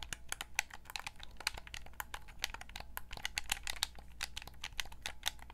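Long nails tap and click rapidly on the buttons and shell of a white Xbox 360 gamepad, a hollow, hand-sized hard plastic controller held in both hands. The result is a dense stream of short, dry, bright clicks and ticks with no ring, over a steady low hum.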